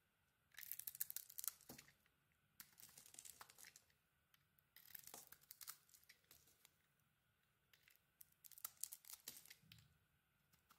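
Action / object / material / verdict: scrape / bar of soap cut with a knife blade / soap / none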